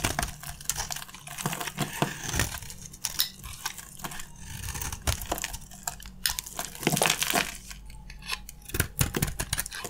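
A metal utility blade scrapes crunchy shavings off a dry, green marbled soap bar with a gold coating held in the hands. Short, dry scraping strokes give bright, crisp crackles and crunches that stop quickly with almost no ring, over a faint low hum.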